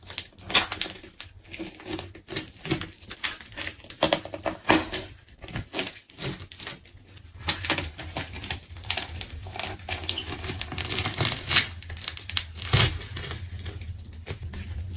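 A pink layered plastic tape ball, held by hand, is scored and sliced with a craft knife. Dense, bright crinkling and tearing crackles come in quick uneven bursts over a low steady hum, with the layers giving way in short sharp snaps.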